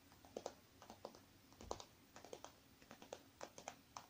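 Long dark-painted nails tap and scratch the crinkly surface of a small, soft, zipped silver metallic faux-leather cosmetic pouch with items inside, lying on a wooden table while the other hand holds it. Irregular light taps and crinkly scratches sound with quick, dry ticks and a bright rustle, some hits stronger than others.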